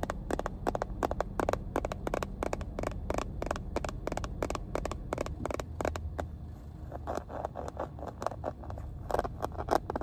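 Long painted nails tap and scratch along the textured surface and edges of a small, hollow, cream hard-plastic first aid kit case inside a car. A rapid series of sharp, dry clicks with a hollow midrange knock, mixed with short scraping scratches over a steady low rumble. Each tap dies out almost instantly.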